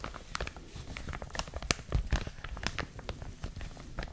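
A clear, thin plastic bag wrapping a white and blue printed product, hollow and crinkly, is held in both hands and squeezed and crinkled with long manicured nails and fingertips. Dense, bright crinkles and sharp crackles come in quick, uneven bursts over soft, low handling thumps, with a few louder snaps near the middle.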